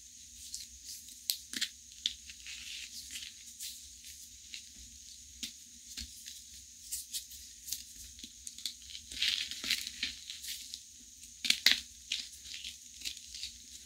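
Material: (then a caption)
Chalk. Fingertips with long nails break and crush pieces off a large white reformed gym chalk block (magnesium carbonate) sitting in chalk powder. The result is dry, bright crackling and crumbling, with many short, sharp snaps standing out from quieter gritty crunches. A faint steady hum runs underneath.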